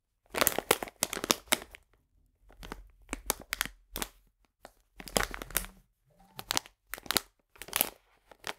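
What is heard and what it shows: A full, printed plastic package of polenta is turned and squeezed in the hands, making bright, dry crinkling in short bursts separated by brief quiet gaps. The crackles are sharp and snap off instantly, with little low end.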